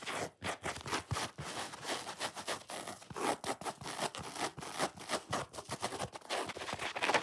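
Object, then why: Foam sponge. Long fingernails scratch and rub quickly along the top rind edge of a solid, watermelon-shaped foam sponge. The result is a rapid, uneven run of dry, raspy scratching bursts with bright, hissy texture and very little low end.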